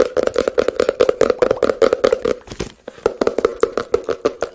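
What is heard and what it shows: A small, hollow blue and white printed cardboard product box is held in both hands and tapped and scratched with fingertips and nails close to the microphone. Quick, irregular dry taps carry a hollow tone around 480 Hz, with soft scratching and bright clicks between them. The tapping briefly eases into quieter scratching near the middle before picking up again.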